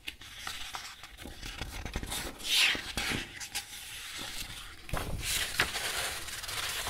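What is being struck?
Paper sheets in a metal ring binder.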